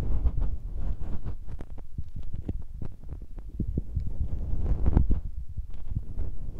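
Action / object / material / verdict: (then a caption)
tap / metal mesh microphone capsules / metal mesh / none. Fingertips press and tap on the tops of two small, hollow metal microphone capsules with mesh grilles and red rings on a Tascam recorder, striking both left and right at once. The result is a steady run of quick, deep, muffled thumps and rubbing rumbles with almost no high end, each tap dying away instantly.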